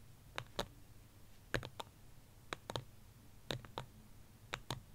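Fingertips and nails tap rapidly on the side of a small white ceramic plant pot holding a succulent. The taps come in quick pairs and triplets of short, dry clicks with a bright edge and a faint low knock. Each tap dies away almost at once against a quiet background.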